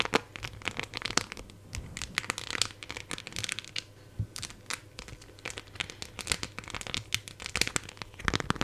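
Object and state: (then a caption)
Phone in clear plastic case with raised decorations. Long nails tap and scratch over a smartphone-sized clear plastic phone case with raised silver heart and charm decorations, held in both hands close to the mic. The result is a dense run of quick, bright clicks and crinkly scratching with a faint low hum underneath.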